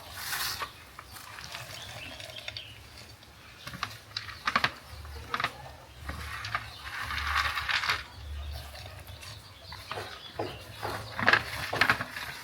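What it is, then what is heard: Crisp fried coated peanuts. Fried peanuts coated in flour and egg, cooked in groundnut oil, clatter and rattle against each other like dropped coins in a series of sharp, irregular clicks with bright, brief ticks. The pieces sound hard and crunchy.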